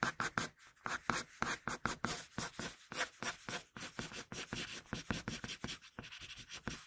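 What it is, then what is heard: Pencil drawing on paper. A wooden pencil scratches sketch lines onto a flat sheet of paper in a quick run of short, separate strokes. Each stroke gives a dry, bright scratch with a little low body, fading fast between strokes, and the strokes turn softer and more even near the end.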